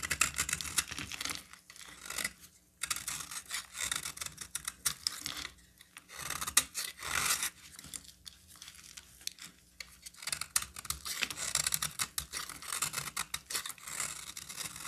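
A hand-sized solid green bar of soap is scraped and cut with a metal utility knife blade, peeling off curls. Bright, crisp, rasping scrapes come in rapid bursts, with brief pauses between strokes.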